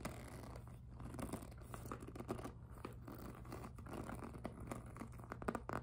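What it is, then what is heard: PVC handbag scratched and tapped. Long nails scratch and tap the front of a hollow, glossy pink jelly PVC handbag. Soft, dry scratching is broken by quick, short taps that die away at once, all over a steady low hum.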